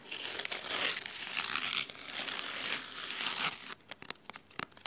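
Fingernails scratch the spine and top edge of a large, thick, solid red fabric-covered hardcover book. A steady bright, dry rasping fills the first three and a half seconds, then gives way to a quick series of short, separate scratches over near silence.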